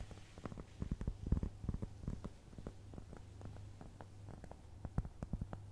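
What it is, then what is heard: Cork trivet. Long nails scratch and tap across the surface of a round, flat, solid cork trivet. The sound is a quiet run of soft, dull taps and brief scratchy clicks over a steady low hum, with the taps clustering more densely at the start and end.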